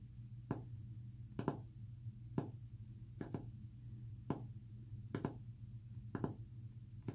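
Short fingernails tap a flat, solid white-painted wooden panel, giving thirteen quick, dry clicks in single and double strikes that die away almost instantly. A steady low hum runs underneath throughout.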